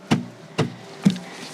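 Three knocks on the textile-covered dashboard trim panel of a Toyota bZ4X give short, dull thuds centered low around 200 Hz that die away almost instantly. The panel sounds hollow, much like the empty sound of a wooden dashboard board on a Mercedes S-Class.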